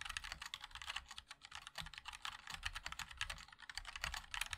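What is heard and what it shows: Fingertips of both hands type continuously on a compact 60% MOD-L mechanical keyboard with a black case, white and black plastic keycaps and linear switches. A rapid, steady stream of short, bright plastic clacks is heard, each dying away almost at once over a soft low thud, with no pauses in the typing.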